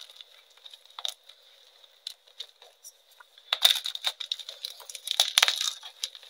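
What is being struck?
Pressed gym chalk pieces.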